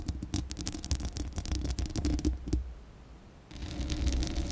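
Long acrylic nail tips scratch across a hollow metal mesh microphone grille, making quick, irregular bursts of crackly scratching with a heavy low thump. The scratching fades to near quiet for a moment, then resumes as a steadier, brighter rasping scrape.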